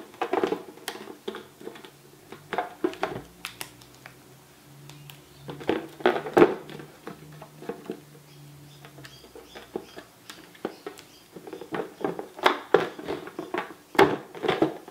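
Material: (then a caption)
Latex rubber. A small, inflated yellow latex balloon, hollow and air-filled, is held in both hands over a black cloth while fingertips and painted nails tap and rub its taut surface. Quick, soft taps come in irregular bursts of dull patter, mixed with faint squeaky rubbing and a low, drawn-out hum in the middle stretch. Each tap dies away almost at once.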